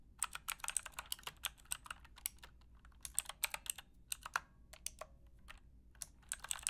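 Typing with long painted nails and fingertips on a full-size black Aukey mechanical keyboard with square plastic keycaps and a hollow plastic case, resting on a fluffy rug. Quick, bright, clicky keystrokes come in uneven bursts with short pauses between them, each tap dying away almost instantly.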